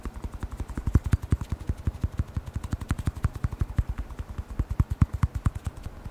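A small black hollow rubber lens air blower bulb with a blue nozzle is held in one hand and tapped quickly with the fingertips of the other. About 41 short, dull, low thumps with faint bright clicks come in a steady, slightly uneven rhythm, each dying away almost instantly.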